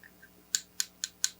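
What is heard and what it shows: A thick, very light ChiaoGoo bamboo knitting needle is tapped four times, giving short, bright clicks with almost no low end. It makes a lighter "tong" sound than a heavier needle.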